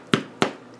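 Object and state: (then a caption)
Baked-through bread loaf, hollow sound. Two taps on the bottom of a multigrain bread loaf just taken out of its pan give short, hollow knocks that fade quickly, a sign that the bread is baked through.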